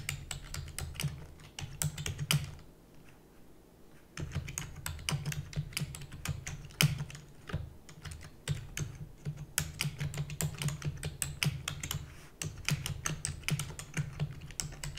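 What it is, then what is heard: Plastic computer keyboard being typed on. A full-size black plastic computer keyboard with hollow keys is rapidly typed with the long nails and fingertips of both hands, producing dense, bright clicky taps over a steady low rumble. The typing pauses briefly near the start, then continues in fast bursts with short breaks to the end.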